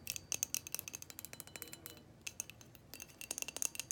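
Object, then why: Glass light bulb. Long painted fingernails tap and scratch a hand-sized, hollow, frosted white glass light bulb with a metal screw base, held close. The result is a quiet, rapid series of sharp, bright glassy clicks and ticks that stop instantly with no ring, with brief scratchy passages between the taps.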